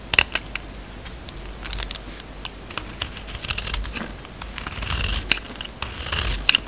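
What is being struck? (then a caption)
Bar of soap cut with a steel blade. A steel utility-knife blade shaves thin slices off a solid, hand-sized oval red embossed soap bar with a pink core, held in the palm. The clip is full of crisp, bright crackles and sharp scraping ticks, with brief soft rasps between the cuts. Thin slices of soap come away from the bar.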